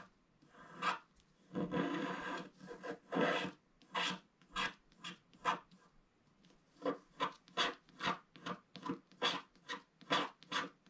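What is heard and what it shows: A pointed wooden stick scratches the black coating off a flat, thin, solid wax-coated scratch art paper card with an owl picture, lying on a table. A series of short, dry, raspy strokes is heard, some longer and blended at first, then quicker, evenly spaced and bright. Each stroke stops almost at once, with no ring.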